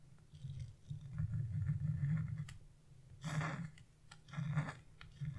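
A hand with blue-painted nails scrapes a flat chisel across a wax-coated scratch-art page with a bird design, removing the black coating as flakes pile up. The repeated scratching is a low, dry rasp with quick ticks, rising into brighter, gritty bursts of scraping toward the end.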